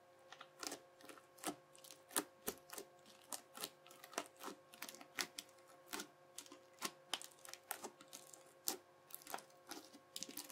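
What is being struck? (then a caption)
Plastic knife edge pressed into bead-filled slime. The edge of a yellow plastic knife, guided by a fingertip, is pressed repeatedly into a flattened teal bead-filled crunchy slime. Each press makes a short, sharp, bright crunchy click at a quiet level, coming in a steady irregular rhythm over a faint constant tonal hum.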